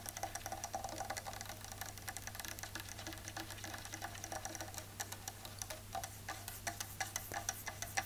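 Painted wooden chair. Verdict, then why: Real. Fingernails tap rapidly on a painted chair, confirmed to be real wood rather than faux. The taps are quick, short, dry clicks with a bright, woody tone. They run in a dense stream over a steady low hum.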